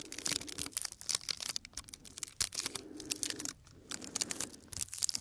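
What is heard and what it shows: Fingertips and nails tap and scratch the surface of a small, light, solid wooden block held close to the microphone. The result is a dense run of crisp, bright clicks and dry scratching with almost no low end and no ring. It briefly drops to a quieter rustle before the tapping picks up again.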